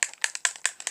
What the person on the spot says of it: you just shake it you can hear it has a little ball or something in it